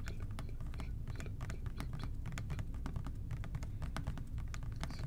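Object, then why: Plastic trigger spray bottle. Fingertips tap quickly and lightly on an OxiClean plastic trigger spray bottle, which is then held to the side. A steady run of soft, dry clicks plays over a dull, hollow low thump, with each tap dying away almost at once.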